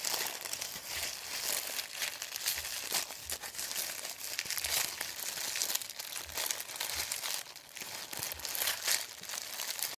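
A thin sheet of printed white paper is crumpled and folded in the hands while fingers crinkle and squeeze it. It makes a steady stream of bright, dry crackles and rustles that swell and dip for about ten seconds, with almost no low end.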